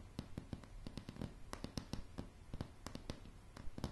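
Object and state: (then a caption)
Wooden plank floor. Long polished nails on both hands tap solid light pine floorboards in a quick, uneven series of soft, dry clicks. Each tap is short and dies out almost at once, over a low, dull thud that carries most of the sound.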